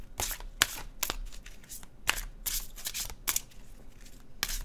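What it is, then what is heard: Deck of glossy paper cards being shuffled. A blue-edged glossy cardstock oracle deck is held in one hand and overhand shuffled, its cards sliding and flicking against each other. Bright, papery swishes alternate with sharp, quick flicks that stop almost instantly, over a quiet low rumble.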